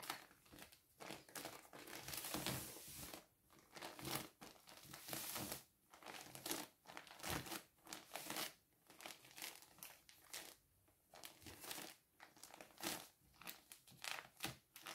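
A medium-sized pink plastic poly mailer bag filled with soft folded clothing lies on a wooden table while fingertips and palms fold it, press it flat and smooth it down. The result is a steady run of bright, crisp plastic crinkles and rustles in short bursts, with brief quiet gaps between the presses.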